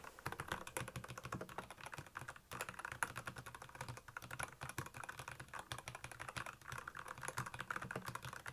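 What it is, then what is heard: Plastic mechanical keyboard. Rapid fingertip typing on a black plastic Royal Kludge mechanical keyboard with backlit keys produces a dense, steady stream of short, sharp clacks. Each keystroke dies away almost instantly, with a clicky midrange tone around 1.4 kHz over a soft low thump.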